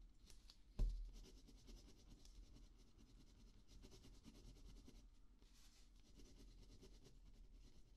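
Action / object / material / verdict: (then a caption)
scrape / ballpoint pen on thin notepad paper / paper / none. A ballpoint pen scratches across a small spiral notepad sheet of thin paper lying flat on a dark table while writing letters, the other hand resting beside the pad. A brief low thump sounds near the start, then a quiet, steady scratching with a faint low hum continues to the end.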